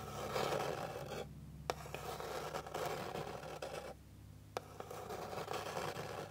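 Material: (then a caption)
Wood. Long pink fingernails scratch across a flat, solid, light wooden board with a fine grain, making dense, rasping strokes centered in the mids with a brighter hiss above. The scratching comes in bursts with brief quiet gaps, and a few sharp, dry taps on the surface stand out between them.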